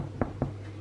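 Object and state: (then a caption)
Baked loaf of bread, sounds hollow (done). A homemade loaf of bread, turned upside down, is tapped twice on its bottom, giving two short, dull, hollow knocks with a low body and almost no ring. The hollow sound shows the loaf is baked through, though it could probably have gone another five minutes.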